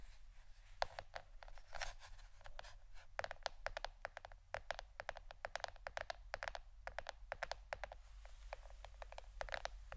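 A plastic board shaped like a shirt is tapped with the fingernails. The result is a quiet, rapid stream of crisp, dry clicks with almost no ring, bright at the top and with a steady low hum underneath.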